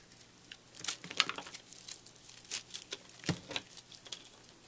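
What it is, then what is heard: Microwaved puffed soap being scraped into crumbs. A fist-sized chunk of white soap, puffed up in a microwave into a brittle, porous foam, is held in the hand while a utility knife blade cuts and scrapes it into crumbs. Quiet, bright crackling and crunching snaps come in irregular bursts, with a low steady hum underneath.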